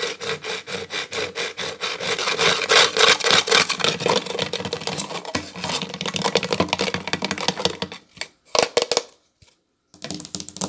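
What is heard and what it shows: Long acrylic nails scratch and rub along the solid wooden border strip of a tiled table, making fast, rhythmic, bright, raspy strokes at about three or four per second. The scratching runs steadily for about eight seconds, breaks into a few short separate scrapes with brief silences, then resumes near the end.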